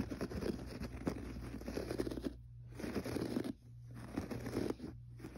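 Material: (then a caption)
Carpet fibre. Fingertips scratch and pat the pile of a gray textured carpet on the floor. Dry, crackly scratching comes in bursts separated by brief quiet gaps, over a faint steady low hum.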